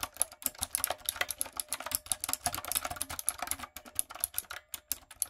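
Fingertips and long acrylic nails type on a light-up, typewriter-style plastic mechanical keyboard with round plastic keycaps. About thirty quick, bright, clacky keystrokes come in an uneven, steady rhythm, each dying out almost instantly, with little low end.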